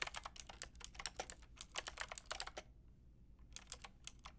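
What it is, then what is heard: Plastic mechanical keyboard being typed on. Long painted nails and fingertips type on a white and pink Lofree mechanical keyboard with round plastic keycaps, making quick, bright, sharp clicks and taps. A steady burst of keystrokes runs for about two and a half seconds, pauses for roughly a second, then a few more keys are tapped.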